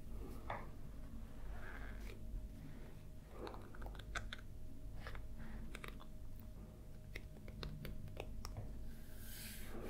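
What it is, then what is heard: Paperback coloring book. Fingertips and nails tap and scratch across the glossy paper cover of a large, closed paperback Game of Thrones coloring book lying flat on a white table. Short, dry clicks and brief scratchy swipes sound over a steady low hum, with many quick taps scattered through the clip.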